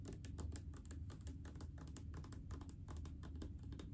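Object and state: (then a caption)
Plastic mouthwash bottle tapped with nails. Long acrylic nails tap rapidly on a large blue plastic mouthwash bottle full of liquid. The result is a quick, steady stream of light, clicky taps over a low, dull hum.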